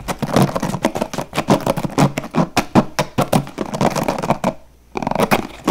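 Fingertips rapidly flick the plastic bristles of a blue plastic paddle hairbrush and then tap its hollow plastic back. The result is a fast series of short, dry clicks and taps. After a brief pause near the end, a few more taps follow.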